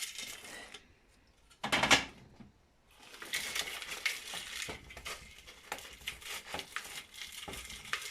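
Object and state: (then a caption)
Fully dried, crisp dehydrated onion pieces. Dehydrated onion pieces are moved and scraped across dehydrator trays, giving a bright, crisp rattling and clinking with many quick ticks and one louder burst near the two-second mark. The crunchy sound shows the onions are fully dried and ready.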